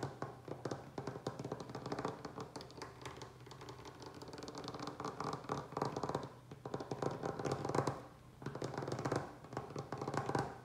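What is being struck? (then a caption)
Wooden butcher-block tabletop. Fingertips and short nails of both hands tap fast on a large, solid butcher-block style wooden tabletop. The result is a dense, continuous patter of short, dry, woody knocks with a warm low-mid body and almost no ring. The patter eases briefly twice before resuming.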